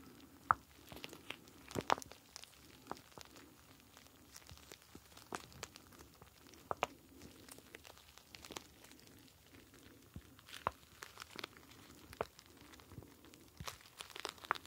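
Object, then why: Plastic pouch of gel beads. A star-shaped clear plastic gel bead ice pack, full of blue gel beads, is squeezed and rubbed with fingertips close up. The result is a steady stream of soft crinkling and crackling plastic with many sharp, bright clicks and a faint low murmur of the shifting beads underneath.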